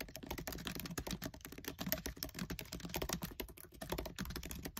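Fingertips with short nails type fast on the black plastic keys of a MacBook Air keyboard set in an aluminium body. The result is a dense, continuous stream of short, crisp clicks and taps with a soft low thud under each keystroke, and each one dies away almost at once.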